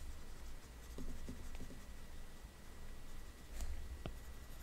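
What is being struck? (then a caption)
Plastic stylus tip on a glass tablet touchscreen. A plastic Apple Pencil tip, held in the fingers, dabs and taps on the glass touchscreen of a large iPad while painting spots. Soft, dry, quiet ticks and light scratchy dabs sit over a steady low hum, with a couple of slightly sharper, brighter taps near the end.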